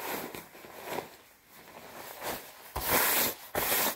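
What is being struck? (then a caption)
Quilted nylon puffer jacket. Red-nailed fingertips rub and scratch the chest panels of a worn, padded white quilted nylon down jacket. Soft, papery rustling and scratching build for a few seconds, then two louder, bright swishing rubs close the clip.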